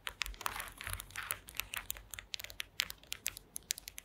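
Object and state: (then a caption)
Woven wooden slat mat. Long green acrylic nails tap and scratch across a woven wooden slat mat. The result is a quick, irregular run of sharp, dry clicks mixed with brief raspy scrapes, mostly bright and high with very little low end. Each tap dies away almost instantly.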